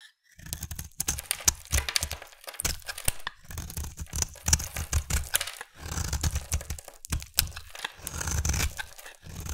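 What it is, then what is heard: Bar soap being carved. A hand-sized, solid oval pink bar of soap is held in one hand and carved with a utility knife blade, chipping off flakes and shavings. Dense bursts of crunchy, crackling scraping with a bright, high edge and a low, dull body come in quick runs, broken by brief pauses.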